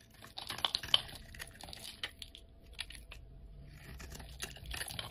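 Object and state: Bar of soap being carved.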